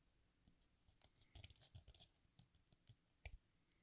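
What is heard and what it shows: A craft knife blade scrapes the red surface of a solid watermelon-slice-shaped sidewalk chalk block held upright, and the shavings fall into a pink plastic bowl. Quiet, dry scratching comes in short bursts with crisp, bright clicks, ending in one sharper tick near the end.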